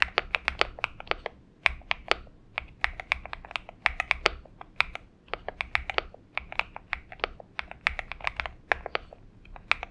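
Steady fingertip typing on a purple Xinmeng M71 mechanical keyboard with lubed switches and PBT keycaps. It makes a fast, uneven run of short, bright, crisp clacks that die away instantly, over a faint low background hum.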